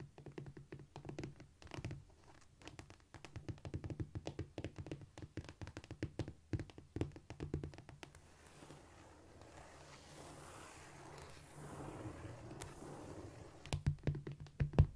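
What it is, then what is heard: Cork floor tapped and scratched. Long nails tap and scratch across a flat, solid cork floor. Rapid, dull, low taps with almost no ring fill the first half. Around the middle they give way to a steadier, soft scratching rub, and louder taps return at the end.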